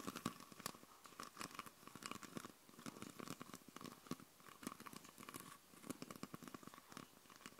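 Long purple nails tap and scratch a hand-sized, hollow, clear plastic Coca-Cola bottle with a red label and red cap, mostly empty with condensation and droplets inside. The result is a quiet, rapid stream of dry, clicky taps and crinkly scratches on the bottle and its label, with a hollow tone near 1 kHz and no ring after each hit.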